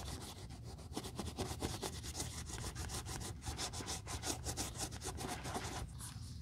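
A cotton ball held in metal tweezers is rubbed back and forth over the crinkled black quilted leather of a Chanel 2.55 Reissue flap bag during restoration. The result is a steady, soft, scratchy rubbing with repeated bright swishes over a low rumble.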